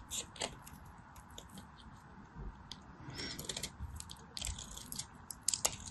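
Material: Soap.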